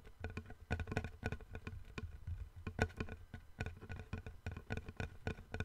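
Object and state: Wooden plank.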